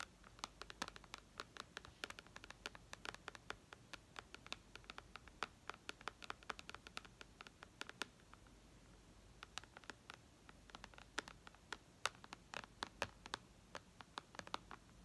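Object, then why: Glass tablet screen. Long red nails tap and scratch the glass screen of a white iPad, producing rapid, bright clicking taps over a soft scratchy hiss. The taps come in dense, irregular bursts, pause briefly around the middle, then pick up again with some sharper, louder clicks.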